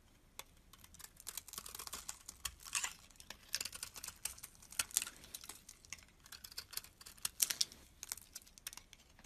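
A metal box-cutter blade carves and scrapes shavings off a solid, rectangular white Dove bar soap with an embossed logo, held in the hand. It makes quiet, crisp, dry scraping and crackling bursts that are bright and high, with almost no low end. Each cut ends abruptly with no ring.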